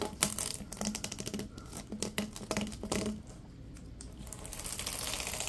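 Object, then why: Ribbed plastic tube. Latex-gloved hands bend and stretch a long, yellow, hollow, ribbed plastic tube, producing a rapid run of dry clicks and crackles over a low steady hum. The clicking thins out partway through, leaving a softer, brighter hiss toward the end.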